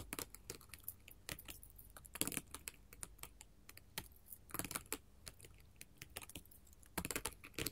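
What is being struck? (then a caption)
Glass mosaic tile sheet tapped with metal finger claws. A flat sheet of small square colored glass mosaic tiles resting on a table is tapped rapidly with long gold metal filigree finger claws. The result is a quick, uneven patter of sharp, bright clicks that die away almost instantly, with small clusters of louder taps, over a faint low background hum.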